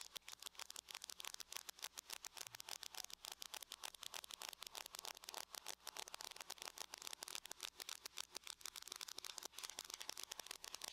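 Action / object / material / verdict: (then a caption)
tap / aluminum laptop lid tapped with fingernails / aluminum / none. Long nails tap rapidly with both hands on the lid of a closed silver aluminum laptop. Dozens of quick, bright, dry clicks run in a steady stream for about eleven seconds, each dying out almost instantly, with no low-end weight.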